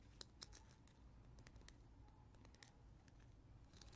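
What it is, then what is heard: Plastic caterpillar teether with gel ring. A small yellow hard-plastic caterpillar teether attached to a translucent green gel-filled ring is held in the hands and tapped and scratched with natural nails. Sharp, bright clicks and soft scratchy rustles come through over a low, quiet background rumble.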